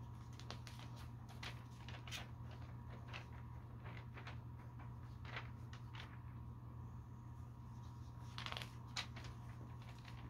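Fingertips lift and turn the pages of a thin, glossy paper store catalog lying open on a carpet, one page at a time. Soft, bright papery swishes and crinkles come and go over a quiet, steady low hum.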